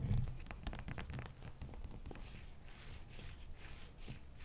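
Long fingernails scratch across the top of a wide, solid, bowl-shaped block of frozen ice resting on a towel. Quick, crisp scratching strokes with a dull low thump come first, then ease into softer, hissy high scrapes.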